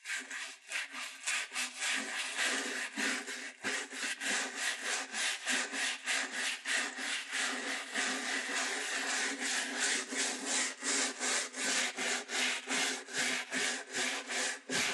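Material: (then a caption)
Leather. A wooden-backed bristle shoe brush scrubs back and forth across the upper of a black leather lace-up dress shoe that is hollow, empty and held in hand. The result is a steady run of quick, bright, raspy bristle strokes, about three per second, with slightly uneven timing and no low end.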